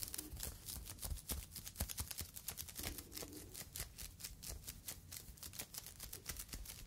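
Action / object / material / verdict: scrape / polyethylene foam fruit net sleeve / polyethylene foam / none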